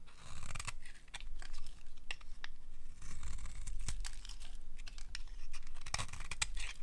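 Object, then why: Bar of soap scraped with a metal blade. A solid, bright green rectangular bar of dry soap is held in the hand and carved with a metal blade, scraping off shavings. Repeated crisp, dry scraping and crunching strokes with bright, sharp edges sound over a steady low hum.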